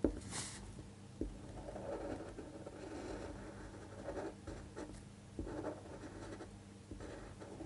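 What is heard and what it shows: A fine-point pen tip scratches across a thin white paper sheet lying flat on a table, tracing handwriting while the other hand holds the sheet flat. Quiet, continuous scratching and rustling sits mostly in the low mids with little brightness. Two sharper taps stand out, one at the very start and one just after a second in.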